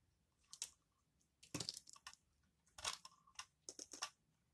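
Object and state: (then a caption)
Bar of laundry soap. A utility knife blade carves crunchy shavings from the end of a solid yellow Aist laundry soap bar held in hand, and the chips fall onto the table. Quiet, irregular bursts of dry, bright crunching and scraping come with short pauses between them and die away quickly.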